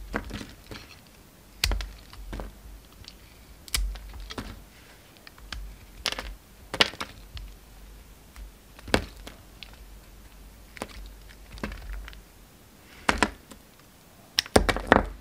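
A utility knife blade cuts and scrapes a solid pink bar of soap held in the fingers. Short, crisp clicks and snaps come at irregular intervals over a low, steady hum, and each cut ends almost at once. The clicks cluster more densely near the end.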